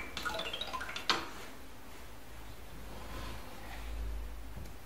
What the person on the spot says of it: まるで木琴のような木の音に大人も子供も癒される